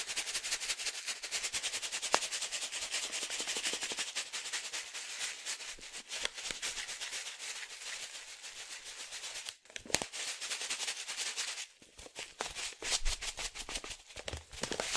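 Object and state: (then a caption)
Foil-laminate coffee bag filled with coffee. A foil-laminate coffee pouch filled with coffee is held in both hands and shaken and tilted, so the coffee slides and rattles inside. The result is a dense, bright crinkling rattle of rapid dry ticks and rustles. It pauses briefly just before 10 seconds and again around 12 seconds, then resumes more unevenly.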